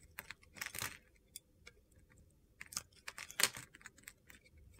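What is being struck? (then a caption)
Bar of soap cut with a knife blade. A utility-knife blade carves crunchy pieces off a hand-sized solid mint-green soap bar. Quiet, bright, gritty scraping bursts and crisp crackles come in uneven clusters, with louder crunchy passes near the start and again toward the end.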